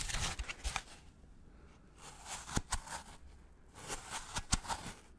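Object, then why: Polystyrene foam packaging block. A gloved fingertip scratches the side of a white polystyrene foam packaging block held upright. Three bursts of dry, bright, scratchy squeaking are punctuated by sharp clicks, separated by quiet pauses.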